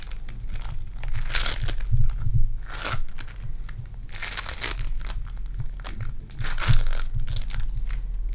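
Purple foam-bead clay is squeezed in the fist and pressed with fingertips, giving a steady stream of soft crackling and crinkling pops. Brighter bursts of crunching come in waves over a constant low rumble.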